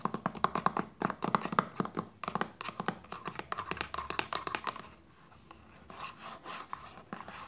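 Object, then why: Plastic lotion bottle. Long nails scratch and rub a hollow white plastic lotion bottle resting on a blanket, making quick, dry clicks and scrapes with a hollow tone around 1.2 kHz. The fast tapping and scratching runs for about five seconds, then eases into quieter, softer rubbing.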